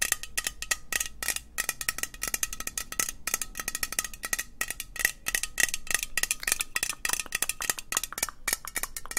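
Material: Metal.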